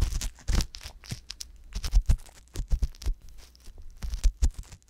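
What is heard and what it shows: An ear pick scratches continuously inside the canal of the left silicone ear on a binaural microphone. The result is a series of close, crackly scrapes and rustles with a deep low rumble beneath them. Bright hissy bursts come through on each stroke.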